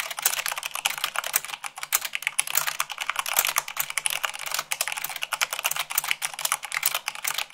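Fast typing at about 98 words per minute with fingertips and long nails on a mechanical keyboard with white plastic keycaps on a black base. A dense, uneven stream of crisp, bright plastic clicks and clacks, each dying away almost instantly, with no low-end thump.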